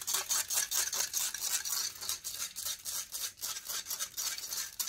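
Long painted fingernails scratch rapidly across the hollow metal mesh grille of a silver condenser microphone. The result is a bright, hissy rasp in quick, uneven strokes of about four per second, with almost no low end and each stroke fading fast.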